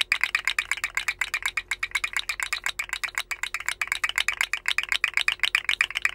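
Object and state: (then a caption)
Plastic articulated slug fidget toy. A rainbow segmented hollow plastic articulated slug fidget toy is held by its head and dangled and wiggled so its jointed segments rattle and click. The clicks are fast, dry and bright, centred around 2.5 kHz and reaching high, coming in dense, slightly irregular bursts throughout.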